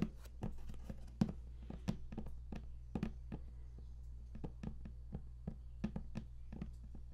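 Fingertips tap on the lid of a large, flat cardboard game collector's box, which is closed and hollow. A steady run of short, dull, hollow taps with a low thud around 215 Hz dies away almost instantly, over a faint, constant low hum.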